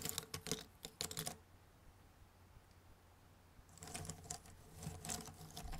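Fingertips sweep, gather and rummage through loose, thin cardboard jigsaw puzzle pieces, some in a white box and some on a red table. Dry, bright clicking and rustling comes in quick bursts for the first second and a half, then near silence over a faint low hum. The rummaging returns as denser, continuous clatter until the end.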